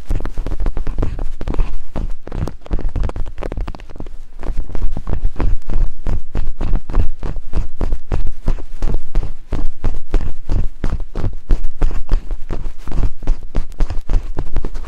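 Thin wooden picks held in both hands tap rapidly on silicone binaural microphone ears. The result is a fast, continuous stream of short, dull, low thumps, deep and muffled with almost no high end. Each thump dies away quickly, and the stream keeps a steady level throughout.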